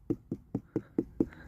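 Six short, low, hollow thuds ring out as a giant pumpkin's hardened skin, too tough for a fingernail to pierce, is tapped. The hollow sound, along with the stalk turning green, marks the pumpkin as ripe and ready to cut from the stalk.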